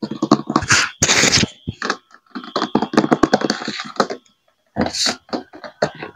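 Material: Plastic.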